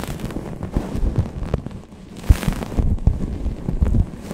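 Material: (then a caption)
Microfiber cloth. Long painted nails rub and scratch a grey microfiber towel draped over a Blue Yeti microphone, with fast and slow strokes. The result is a deep, muffled rumble of scraping and thumping bumps, nearly all low-pitched with no bright edge, with sharper knocks standing out over the steady rustle.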